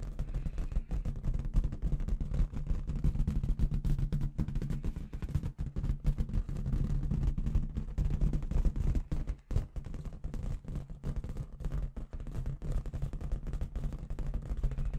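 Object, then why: Inflated latex balloon with confetti inside. Long red nails tap and rub a medium, inflated clear latex balloon filled with red confetti, held in both hands, with some shaking. The result is a dense, irregular stream of quick, dull thumps and rubbing, almost entirely low-pitched, with each tap dying away almost at once.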